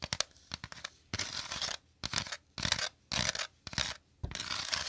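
Fingertips and nails tap and scratch quickly on the woven inside of a shallow, empty bamboo or wicker basket held to the left of the microphone. Short, dry clicks open the clip, then give way to longer bursts of bright, rustling scratches, broken by brief pauses.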